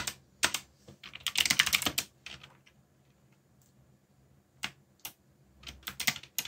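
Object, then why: Plastic mechanical keyboard. Fingertips, one of them bandaged, rapidly tap the plastic keycaps of a backlit mechanical computer keyboard with Korean and English legends while typing. Bright, sharp clacks come in quick bursts separated by brief pauses, and each click dies away almost instantly with little low end.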